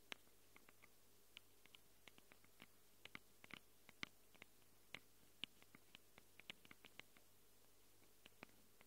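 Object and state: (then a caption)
Nails scratching and tapping on a recorder's microphone capsules. Long acrylic nails quickly scratch and tap the plastic and metal-rimmed microphone capsules of a small handheld Tascam recorder with a plastic body. About thirty sharp, dry, bright clicks and scratches come at an irregular pace over a faint low hum. Each stops at once with no ring.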